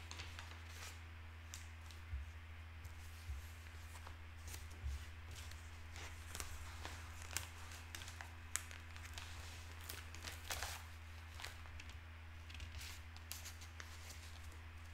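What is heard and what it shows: Both hands turn, fold and flatten the pages of an open broadsheet newspaper of thin paper on a wooden table, working with their fingertips while a pen lies unused. Quiet papery rustles and crisp, bright crinkles come in short, quickly fading bursts over a steady low hum.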